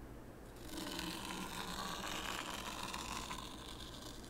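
A small wooden rake, held by the fingertips, is drawn through fine white sand in a shallow wooden tray. It makes a soft, continuous gritty scraping with a bright hiss that swells after the first half second and stays steady until it eases at the end.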